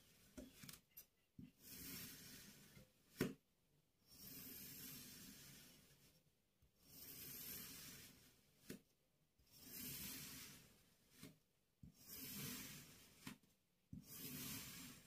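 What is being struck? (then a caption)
Kinetic sand block cut with a metal knife. A metal crinkle-cut knife slices thin ridged layers off the largest of several palm-sized, paw-shaped blocks of pink kinetic sand, while the other blocks sit untouched. Six slow, grainy scraping strokes rise and fade, each hissing bright across the highs over a soft, low body, with crumbling texture. Short ticks and sharp clicks fall in the quiet gaps between strokes.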